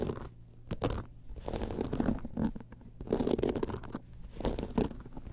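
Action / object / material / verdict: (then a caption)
scrape / rhinestone-studded clutch bag with metal frame / rhinestone / none. Long nails scratch across the studded panel and metal frame edge of a small gold rhinestone-covered evening clutch held in both hands. The result is a dense run of soft, gritty scratching and rustling bursts with a low, muffled body and little high-end sparkle.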